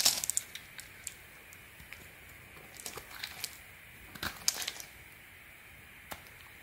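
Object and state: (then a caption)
Bar soap being carved. A small metal blade scrapes and shaves flakes off the carved face of a solid orange soap bar held in the hand, in repeated carving strokes. The result is a series of crisp, bright, dry scraping and crackling bursts that stop quickly, separated by quiet pauses with a faint hiss.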